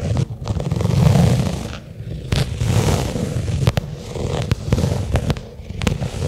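Long nails slowly tap and scratch a small, flat black pebbled-leather case lying on carpet. Soft, low, muffled thuds and rubbing scrapes carry a few sharp, bright clicks between them.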